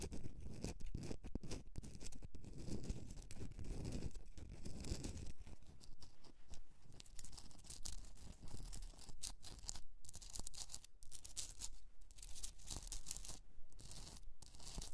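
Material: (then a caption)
Rock salt. Long nails scratch and grip a hand-sized, rough Himalayan rock salt candle holder with a hollow cavity as it rests on a fur rug. The sound is a dense, continuous run of gritty scraping and crackling, with a deep rumbling undertone and brief brighter scratches on top that keep a fairly steady, uneven rhythm throughout.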